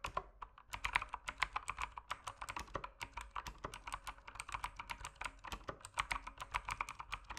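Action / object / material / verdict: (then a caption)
tap / mechanical keyboard with plastic keycaps / plastic / none. Fingertips type steadily on the plastic keycaps of a dimly backlit mechanical keyboard. The dense run of short, dry clicks and clacks has no ringing tail and a bright, clattering tone centred near 1 kHz.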